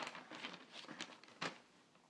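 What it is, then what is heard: Paper flyer scratched with fingernails. Fingernails and fingertips scratch and trace over a flat, glossy paper furniture flyer open to a bedroom page and lying on a table. The result is a quiet run of dry, crisp scratching and rustling, with one sharper, louder scrape near the end before it fades to a soft hiss.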